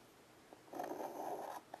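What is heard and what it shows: A child's fingers draw a stick of white chalk across the dark surface of a small, flat, wood-framed blackboard lying on carpet. A faint tap is followed by a sustained, scratchy stroke of chalk, and then another short tick. The sound is quiet, with a midrange grainy rasp.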